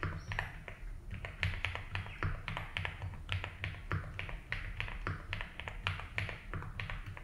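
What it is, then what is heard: Plastic mechanical keyboard. Fingertips tap slowly on a 75% mechanical keyboard with ABS keycaps in a light blue plastic case. The result is a steady run of short, bright clacking keystrokes that fade quickly, over a low constant hum.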